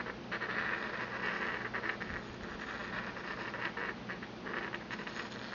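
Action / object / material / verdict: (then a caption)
scrape / porcelain mortar and pestle / porcelain / none. A porcelain pestle is ground rapidly around the inside of a small, empty white porcelain mortar held in the palm. The result is a continuous, scratchy rubbing with a bright, gritty band around 1.7 kHz that swells and eases with each pass.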